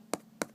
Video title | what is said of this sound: Air Jordan 11 BRED | this is all very tight